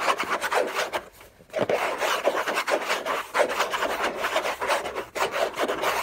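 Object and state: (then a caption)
Cardboard box being scratched. Fingernails scratch hard and fast across the textured paper surface of a large, flat, hollow orange Hermès cardboard box lid. The rough, rasping strokes run almost continuously, with a hollow midrange tone and bright hiss, broken only by a brief quiet pause early on.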